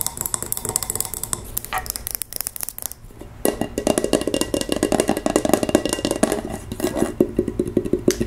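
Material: Glass.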